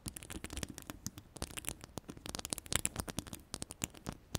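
Long purple-yellow ombre acrylic nails scratch and tap across a hollow woven metal mesh microphone grille. The result is a rapid, uneven run of dry, crackly scratches and clicks with bright high hiss and soft low thumps. Each tap dies away instantly with no ring.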